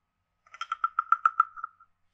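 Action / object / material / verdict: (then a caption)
scrape / carved hollow wooden frog guiro played with a stick / wood / none. A wooden stick taps and scrapes along the ridged back of a hand-sized, carved, hollow wooden frog guiro. It produces a quick run of about eight short, hollow, woody clicks, each with a steady midrange tone near 1.3 kHz and brighter rasping overtones. The clicks die away almost instantly, and the sequence fades toward the end.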